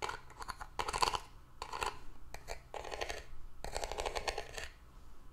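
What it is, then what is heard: Cardboard gift box, hollow. A small, hollow hexagonal cardboard gift box with ribbed paper and a glitter band is handled, set on a table, then tapped and scratched with long nails. Dry, crackly bursts of tapping and scratching come in quick clusters, with a bright edge and a hollow tone around 1 kHz. Each sound dies away almost at once.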